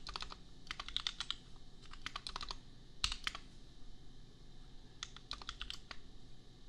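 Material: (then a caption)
Plastic. Fingertips of both hands type on a compact custom mechanical keyboard with red and pink plastic keycaps and Gateron Milky Yellow switches, priced at $250. Bursts of quick, bright plastic clicks come in clusters with short pauses between them, each keystroke dying away almost instantly over a low background hum.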